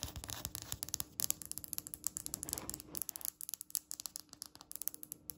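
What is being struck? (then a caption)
Polished stone countertop tapped and scratched with fingernails. Long red acrylic nails tap and scratch a flat, solid, speckled polished stone countertop, producing a rapid string of about 33 sharp, bright clicks with no ring. A soft scraping swell builds in the middle before the crisp taps resume over a faint steady low hum.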